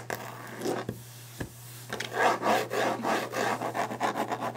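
A wooden desk surface is tapped fast and aggressively, then scratched and rubbed. A few sharp taps stand out over a steady low hum, followed by quick, uneven rasping strokes that repeat several times a second with a mid-pitched, papery-wood texture.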